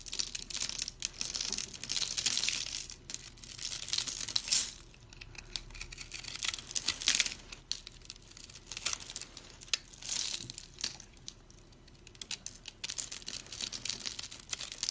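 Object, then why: Bar of soap scored into small cubes, scraped with a blade. A utility blade scrapes across a dry, solid rectangular brown soap bar with colored speckles that has been scored into tiny cubes, breaking off crunchy pieces. The sound is a steady stream of bright, dry crunching and crackling, rising in louder bursts and dropping between strokes, with almost nothing in the low end.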